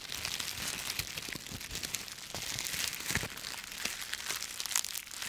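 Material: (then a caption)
Dry leaves. A bundle of dry autumn leaves is crushed in both fists, the brittle pieces breaking up. Dense, bright crackling and crunching runs without pause, with sharp snaps that die instantly and almost no low end.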